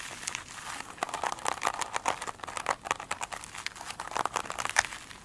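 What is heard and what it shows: Long acrylic nails tap and scratch along one flat, oblong, glitter-coated foam sponge with a sparkly scrubby top. The result is a rapid, dry stream of crinkly scratches and sharp little clicks, bright and papery, with almost no low end and no ring after each touch.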